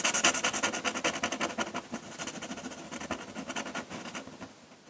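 A metal pen nib in a wooden holder scratches ink hatching strokes across a flat sheet of drawing paper on a table. A rapid, uneven run of short, dry, bright scratches fades slightly toward the end.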